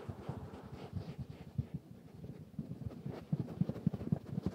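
A mustard-yellow, soft stuffed velvet cushion with pompoms is scratched and rubbed by fingertips and nails. The result is a quiet, low, muffled stream of soft brushing and thumping strokes with no ring, growing a bit stronger and more pulsing toward the end.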